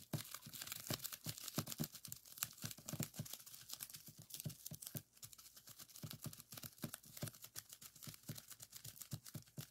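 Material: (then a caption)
Plastic. Fingertips press and pop the air bubbles in a clear plastic bubble wrap strip lying on a table. A rapid, uneven stream of short, sharp pops and crackles sounds, each bright and snappy with a faint low thump and almost no ring. The popping pauses briefly near the middle, then carries on at a slightly softer level.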